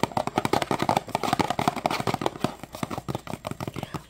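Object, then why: Small thin cardboard box. A small Zatarain's crab boil seasoning box of thin cardboard, lying flat on a wooden table, is tapped and scratched with painted fingernails and fingertips. Quick, irregular dry taps and clicks come in a dense stream, each short and papery with a hollow midrange tone, mixed with brief scratchy rasps. The sound stays light throughout, with little low end and almost no ring after each tap.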